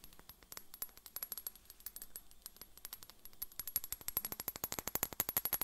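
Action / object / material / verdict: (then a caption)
tap / partly filled glass bottle / glass / none. Long fingernails tap rapidly along the side of a tall, slim, clear glass bottle with a white cap, partly filled with liquid and held in one hand. Dozens of quick, bright, clicky taps with almost no ring, over a faint steady high tone. The tapping grows faster and louder toward the end.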